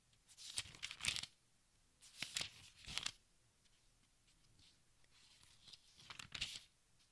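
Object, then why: Thin paper pages of a large book. Fingertips brush and flip the thin paper pages of a large open textbook, making a crinkling rustle. The quiet, bright rustles come in short bursts with brief pauses between page turns.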